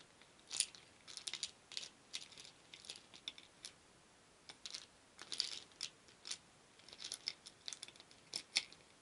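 A wooden spoon stirs a shallow wooden bowl full of many small painted wooden beads, so they rattle against each other and the bowl. Quiet, bright, clicky rattles come in short, irregular bursts with gaps between them. Each click dies away almost instantly, with no low-end body.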